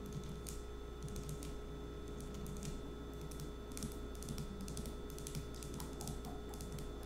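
A small dark green glass nail polish bottle with a black cap is held in the hand and tapped with long acrylic nails. Quick, light, bright clicks come in irregular bursts over a steady low hum.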